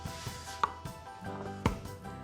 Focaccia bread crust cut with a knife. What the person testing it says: You can hear how crispy that is